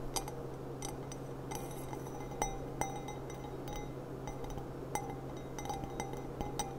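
Long nails tap the bowl of a clear, thin, hollow and empty stemmed glass goblet with a gilt rim and a gold bead on its stem as it is turned in the hands. The result is a scattered series of light, bright clinks with a short ringing tone near 785 Hz over a steady low hum.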